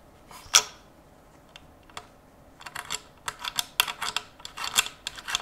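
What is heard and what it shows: Cotton-gloved fingertips tap and scratch along the handguard and receiver of a Zastava M70 rifle, a long steel rifle with black polymer furniture held upright in one gloved hand. One sharp, bright tap is followed by scattered light ticks, then a quicker run of crisp, dry taps and brief scratches. Each sound is high-pitched and dies away almost instantly.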